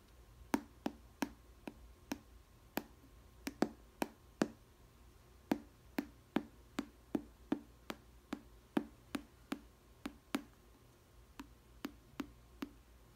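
Long red nails tap 27 times on the green-rimmed clear plastic lid of a small square glass food storage container with bread inside. Each tap is a short, dry click with a low hollow tone and a bright edge, spaced at an uneven, unhurried pace.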